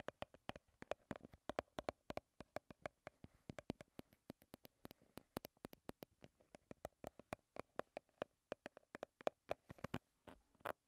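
A small Garnier BB cream squeeze tube of soft plastic, hollow and partly full, is held in both hands and tapped and scratched with long red-painted nails. The result is a rapid, uneven stream of quiet, sharp plastic clicks, each dying away almost at once. Under the clicks sits a faint hollow tone around 600 Hz, with light scratching between the taps.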